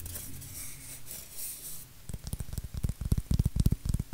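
Fingernails scratch and rub a white styrofoam shape with a rounded end. A soft, bright, hissing rub opens the clip, then gives way to a quick, uneven run of about a dozen short, dry, low scrapes and thumps that squeak faintly and die out at once.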